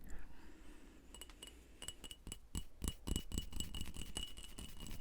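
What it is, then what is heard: Textured glass jar. A textured glass wedding jar with a cross-stitch pattern, used as a candle holder, is tapped repeatedly in an irregular rhythm. Each tap gives a short, bright glassy clink with a faint ring that dies away quickly, over a low background rumble.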